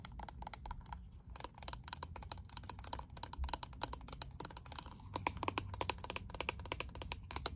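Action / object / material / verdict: tap / plastic makeup compact / plastic / none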